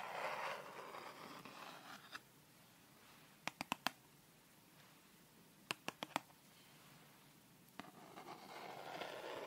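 Long red fingernails scratch along the edge and face of a thin, solid wooden triangular set square held upright, giving soft, hissing scrapes at the start and end. In between come sharp, dry taps on the wood, including two quick bursts of four, with a single isolated tap before and after them.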